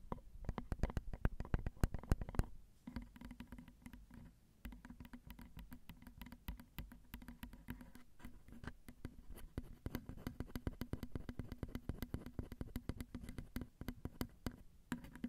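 Long nails rapidly tap the small hollow metal mesh grilles of a Zoom recorder's XY microphone capsules, mounted on a plastic and metal housing, from both the front and behind. The taps come fast and unevenly as soft, short, dull patters with a heavy low thump and almost no bright edge, each dying away at once. They run continuously through the clip at a low level, with a brief, quieter stretch partway through.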